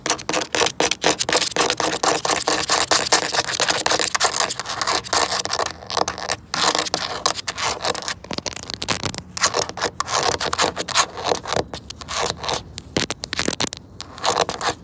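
Long pointed nails rapidly scratch and tap on the curved surface of a large, hollow, red molded plastic tube slide with a seam ridge. The result is a dense, fast run of bright, dry scraping and clicking with almost no low end, each tap dying away almost instantly. It continues steadily with a few brief pauses.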